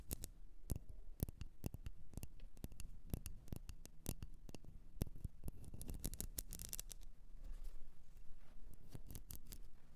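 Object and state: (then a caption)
Candle tapped and scratched. A blue candle, possibly in a container, is tapped and scratched with many quick, sharp ticks over a soft scratching hiss. The taps are dry with almost no ring, and they continue steadily at a low level over a faint low rumble.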